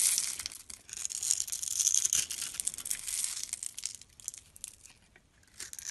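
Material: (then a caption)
Soap. A metal utility-knife blade scrapes and carves curled shavings off a palm-sized, solid dark brown-black bar of soap held in the hand. It makes a bright, crisp, rapid scratching with almost no low end. The scraping is steady and louder through the first three seconds, then softens and thins out before picking up again at the very end.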